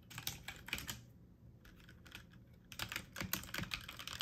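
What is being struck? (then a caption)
Plastic mechanical computer keyboard. Keys on a full-size backlit mechanical computer keyboard with plastic keycaps are pressed with fingertips and medium nails in slower, uneven typing. Bright, short clicks come in bursts at the start and end, with a quieter stretch in the middle.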